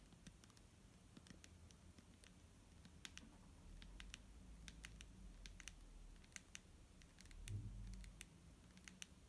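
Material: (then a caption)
Plastic. Fingernails tap on a clear plastic micellar water bottle filled with liquid, making quiet, sharp clicks at an uneven pace. The bright ticks ring out briefly over a steady low rumble, which swells slightly around the seven-and-a-half-second mark.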